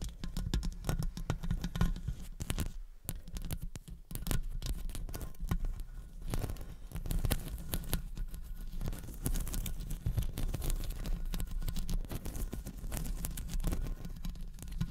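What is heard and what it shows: Long blue acrylic nails tap and scratch the hollow metal mesh grille of a silver condenser microphone while both hands wrap around it. The result is a dense, continuous patter of quick, muffled taps and scratchy rubs, heavy in low-frequency thumps with little high-end brightness.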